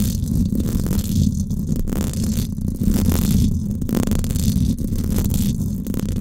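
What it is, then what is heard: Metal mesh microphone grille being scratched. Long acrylic nails scratch across the hollow, silver woven-wire dome grille of a Blue Yeti microphone. The result is a dense, continuous, low rumbling scrape with a steady hum-like tone, swelling and easing in repeated strokes of roughly a second each. There is almost no bright, high content.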